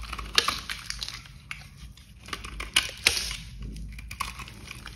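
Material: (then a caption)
Soap. A box cutter blade held in gloved hands carves small flakes off the edge of a solid pink bar of dry glitter soap in repeated scraping and cutting strokes. Crisp, bright crunching and scratchy scrapes are broken by a few sharp, short cracks that die away almost at once, over a faint low background.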